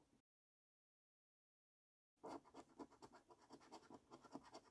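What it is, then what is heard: Coin scratching a scratch card. A coin scratches the latex coating off a flat, thin cardboard paper scratch card resting on a dark wooden surface. After a brief faint sound and about two seconds of silence, quiet, rapid scraping strokes follow in a steady, rhythmic series of short rasping bursts.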